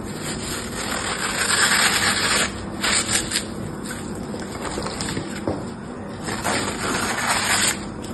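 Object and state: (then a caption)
Floral foam block being scraped and cut. A palm-sized rectangular block of dry green floral foam, solid and porous, is held in one hand while the metal blade of an orange utility knife scores a grid into its surface, then scrapes and cuts it. The crumbly foam gives off a steady, bright, gritty crunching and scraping with short, louder swells as the blade drags through.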